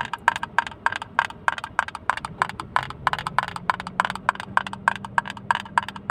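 Fingertips tap a small, hollow blue plastic hinged case, held open and empty close to the mic, with 29 quick, uneven taps at about three per second. Each tap is a short, dry, hollow click with a resonant tone near 1 kHz and a bright edge. A faint low hum in the background settles into a steady tone around 200 Hz partway through.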